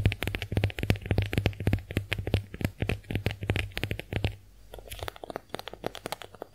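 A pink heart-shaped konjac face sponge is scratched and tapped by long nails, giving rapid, irregular, crisp clicks and scrapes over a low steady hum. The taps are dense and loud for about four seconds, then turn softer and sparser toward the end.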